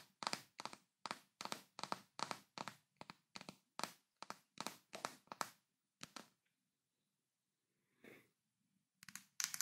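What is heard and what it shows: A large, full glass Nutella jar is held in both hands while fingertips and nails tap its glass body and label area. A quick run of short, bright clicking taps with almost no ring comes first, then a pause broken by one softer tap, and a final cluster of taps at the end.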